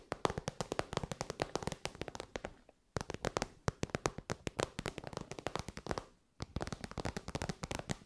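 Long white almond nails rapidly tap and scratch an elongated, shiny pink metallic faux-leather (vinyl) zip pouch, soft and hollow, held in the hands. Dense runs of crisp, dry clicks and taps with a muffled hollow body come in three bursts, separated by brief pauses near the 3- and 6-second marks.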